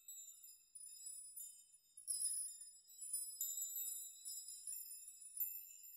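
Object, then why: Hanging metal nail chime. Hanging metal nails of a nail chime are rocked and brushed by hand so they clink together. The result is a quiet, continuous shimmer of very high, bright tinkling with several louder swells of overlapping clinks, and no low end at all.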